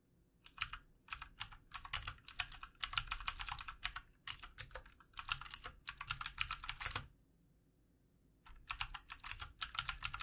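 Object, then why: Plastic computer keyboard. Fingertips of both hands type on a backlit plastic computer keyboard, producing quick runs of bright, crisp key clicks with almost no low end. The tapping comes in bursts separated by short pauses, with a longer silence near the end before typing resumes.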